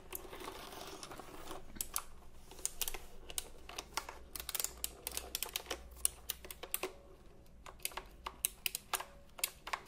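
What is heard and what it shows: Fingertips press and tap the round plastic keycaps of a retro typewriter-style computer keyboard held diagonally. A run of sharp, bright clacks comes at an uneven pace, starting in a dense flurry and then spreading into separate taps. Each tap dies away almost at once over a faint steady low hum.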